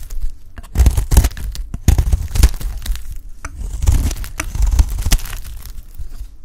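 A solid, hand-sized dry orange bar of soap, held in one hand, is scraped with a metal utility blade, shaving chunks and curls onto a bed of soap shavings. Repeated dry, crunchy scraping strokes with a tearing, crumbly texture carry a heavy low-end thud. Each stroke cuts off quickly, with brief quieter gaps between.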